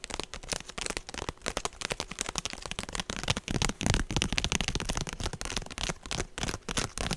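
A woven straw handbag held close to the mic is tapped and scratched with long nails on both hands. The result is a rapid, irregular run of dry crackling taps and rustling scratches, broadband from a low thump to bright, papery highs. Each sound dies away almost instantly.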